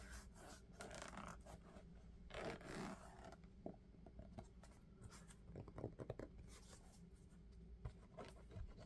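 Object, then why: Sneaker with synthetic upper and rubber sole. Fingertips tap and rub an empty black sneaker with a synthetic upper and a thick rubber sole, held in both hands. Quiet scratchy rubbing and brushing sounds mix with soft, short, dull taps over a steady low hum. Two brief louder bursts of rubbing stand out in the middle.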